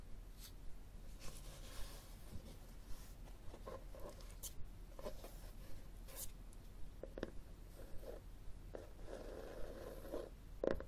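A red textured cloth hardcover book, held and tilted on a wooden table, has its front cover scratched and tapped with short fingernails. Quiet, dry scratching strokes mix with short, soft taps, some carrying a faint mid-pitched tone, over a low steady hum.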